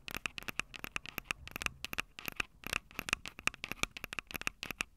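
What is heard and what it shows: Long purple nails tap and scratch the metal mic capsule heads of a small handheld Tascam DR-05 audio recorder with a plastic body and two metal mic capsules. Dozens of quick, dry, bright clicks and scratchy taps come in an uneven stream, each with a tinny tone near 2.6 kHz and almost no ring. The sound is crisp and close with very little low end.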